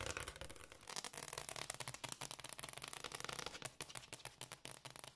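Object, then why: Wooden floor tapped and scratched with fingernails. Long, dark-painted fingernails on both hands tap and scratch a large, solid, dark glossy hardwood floor. The result is a fast, continuous run of sharp, dry clicks and scraping, bright and crisp, with almost no ring after each tap.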